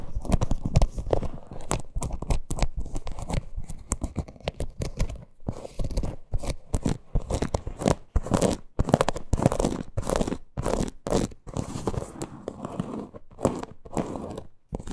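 Long nails scratch the parrot appliqué and the front of a small, hollow teal faux-leather purse lying flat. The result is a dense run of rapid, dry scratching and crinkling bursts with a low, muffled weight and no ring, broken by brief silent gaps.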